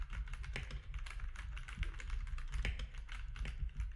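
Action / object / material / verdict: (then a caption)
tap / plastic mechanical keyboard keys / plastic / none. Fingertips of both hands type steadily on a compact mechanical keyboard with grey, white and orange plastic keycaps. The result is a quick, continuous run of short clacking keystrokes with a deep, thumpy low end, faint bright clicks, and almost no ring after each press.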